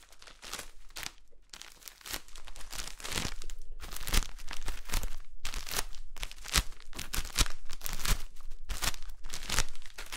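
A solid, rectangular green floral foam brick in clear plastic wrap is held up and squeezed so the fingers crinkle and rub the wrapper. Dense, irregular bursts of bright plastic crinkling and crackling repeat throughout, softer at the start and steadier and louder after about two seconds, with sharp crunchy peaks and no ring after each.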